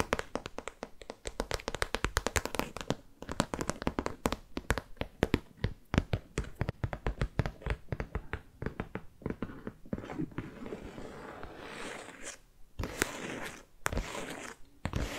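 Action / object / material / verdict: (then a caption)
tap / faux leather zip pouch / faux leather / none. A medium pink glossy faux leather zip pouch, hollow and apparently empty, is held in one hand and tapped with long fake nails. Rapid, dense runs of short dry taps give low, hollow thumps. Toward the end they loosen into a softer, continuous rustling texture broken by a few sharper taps.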